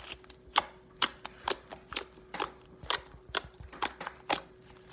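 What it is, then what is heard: Soft fluffy slime being poked. Fingertips poke, press and pat a large, soft mound of white fluffy slime on a table, squishing it. About 13 short, bright, wet snaps and clicks come at an uneven pace, roughly two per second, over a faint steady hum.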